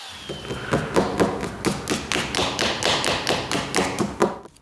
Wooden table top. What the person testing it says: essentially Hollow underneath because of this wood defect